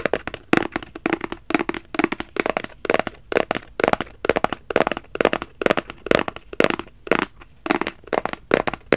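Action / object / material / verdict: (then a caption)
tap / small rigid cardboard box / cardboard / none. A small, hollow black rigid cardboard Versace gift box is held flat in both hands and scratched and tapped with fingertips and nails. Quick, dry, crackling taps and scratches come in a steady, busy run, with a hollow midrange tone around 460 Hz and no ring after each hit.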